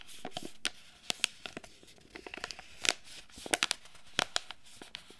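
A small, flat foil-and-plastic Earth Kiss sachet holding a sheet mask is held in both hands and crinkled and scratched with long red nails. It makes a quick series of sharp, bright crackles and clicks over a soft, hissy rustle, with each snap cutting off almost instantly.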